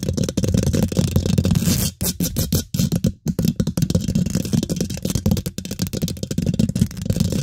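Fingertips and nails scratch quickly on the hollow steel mesh grille of a large microphone, working behind and beside the head. The result is a dense, boomy low rumble with rapid rasping, crackly strokes and brief bright scratchy edges, broken by a few short near-silent gaps.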